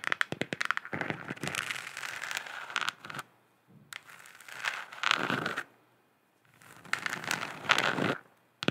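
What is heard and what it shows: Long nails tap rapidly on a hollow, galaxy-printed plastic moon lamp sphere, making bursts of dry, crackly clicking separated by short pauses. The taps are bright and thin, with a light hollow plastic tone around 1.4 kHz and very little low end.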